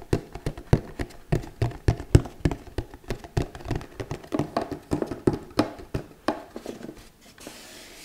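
Long nails tap a flat, hollow, handheld red cardboard gift box with a glittery textured surface. Roughly thirty quick, dry taps come in an uneven rhythm, each a low hollow knock that dies away almost at once. A faint soft hiss is left at the end.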